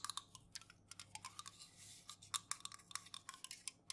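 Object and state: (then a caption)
Aluminum juice can tapped with fingernails. Long nails tap and scratch the bare aluminum bottom and rim of an unopened, full Jumex metal juice can held in the hands. The result is a fast, uneven run of sharp, bright clicks that die out almost instantly, with a soft, hissy scratch in the middle, all at a quiet level.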